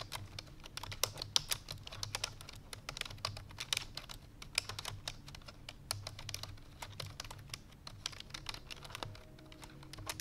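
Rapid, bright clicking taps fill the clip as fingertips with long painted nails type fast on a full-size black plastic computer keyboard resting on a white fur rug. The sharp, short key clicks come in quick, uneven bursts over a faint low hum, with a brief soft tone near the end.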